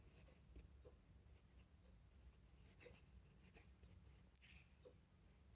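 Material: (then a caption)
Paper. A metal fountain pen nib scratches across an open ruled paper notebook lying flat on a desk as a hand writes cursive text. Soft, brief scratchy strokes with bright edges sit over a steady low hum.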